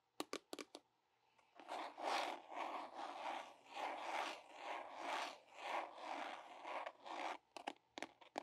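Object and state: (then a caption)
Plastic sharps container, empty. A medium-size red plastic biohazard sharps container, hollow and apparently empty, is held up in both hands and tapped and scratched with fingertips and nails on its sides and label. Four quick, crisp taps open the clip, followed by about six seconds of rhythmic rasping scratch strokes with a hollow midrange tone around 770 Hz and a bright edge. It ends with another cluster of sharp taps.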